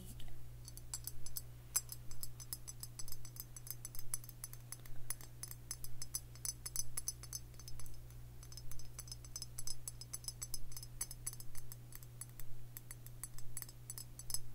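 A hollow Tullamore Dew stoneware whiskey jug, with a cream body and a green glazed neck and handle, is held up and tapped with the fingertips and nails. The result is a steady stream of quick, bright, clicky taps with a short sharp ring, all over a constant low hum.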